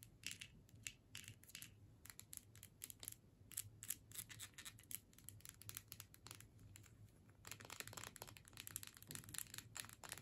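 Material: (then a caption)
Plastic. Long nails tap quickly along the body and sides of a filled plastic tube with a metal screw cap. The result is a quiet, dense run of sharp, bright clicks and crinkly ticks that stop almost instantly, over a steady low hum. The tapping grows busier toward the end.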